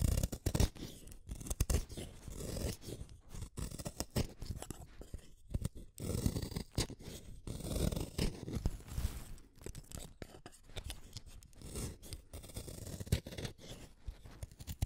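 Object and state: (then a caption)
Wooden pencil being shaved. A small, solid black-lead wooden pencil is shaved with a utility knife blade. Rapid, dense scraping and shaving strokes run continuously through the clip, mostly low and muffled with soft crunchy bursts.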